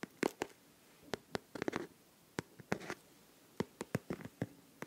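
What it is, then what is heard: Liquid-filled plastic pencil case. A pink transparent plastic pencil case filled with liquid and glitter is held against the microphone and tapped and scratched with fingernails. Short, sharp clicks and brief scratchy bursts come in an irregular pattern, with a mid-range body and a bright, crisp edge that stops almost instantly.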